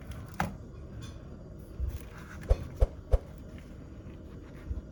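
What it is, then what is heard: Rattle cookie with loose sugar beads inside. A gingerbread rattle cookie, with bead sugar sealed inside a hollow made of glass candy, is shaken so the loose sugar beads rattle inside. Brief, sharp clinking clicks stand out over a low, murmuring background, with a quick run of three close together in the middle. Each click dies away almost at once.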